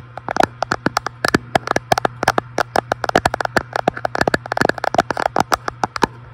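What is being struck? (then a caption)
Glass front panel of an electric fireplace. A fingertip taps quickly and irregularly on the large flat glass front panel of an electric fireplace, about three dozen short, dry clicks with a faint glassy tone around 720 Hz. Each tap dies away almost instantly over a steady low hum.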